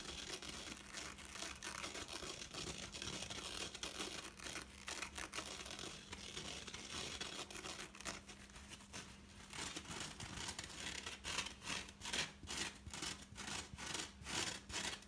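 Fingertips with painted nails rub and scratch a dry, soft, hand-sized Ikea foam sponge, green and yellow and horse-shaped, out of its packaging, first on the porous foam and then on its dark green abrasive scour pad layer. A dense, bright, crinkly scratching fills the first part. Toward the end it breaks into quicker, distinct rhythmic scrapes over a faint low hum.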